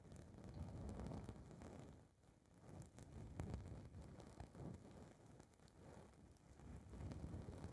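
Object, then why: Foam microphone windscreen. Long red nails scratch and rub a small blue foam windscreen fitted on a recorder's mic capsule. The result is a dense, muffled rumble of low scuffing and crackling with almost no high end. The sound dips briefly near the two-second mark before swelling again.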